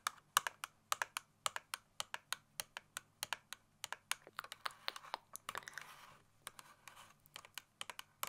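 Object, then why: Small cardboard tape dispenser box. Long fingernail tips tap rapidly on the surface of a small, hollow cardboard Scotch tape box held in the hands, about 41 quick, dry, bright clicks that sound much like keyboard typing. Around the middle the taps blur briefly into a soft scratchy rustle before the crisp, irregular tapping resumes.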